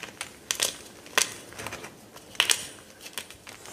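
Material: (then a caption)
Magnesium carbonate. A dry block of white gym chalk (magnesium carbonate), broken into shards and powder on a dark counter, is crushed and squeezed between the fingers. It makes a string of short, bright, crackly crunches and crumbles with almost no low end. Each snap dies away almost instantly, leaving soft grainy crumbling between the sharper breaks.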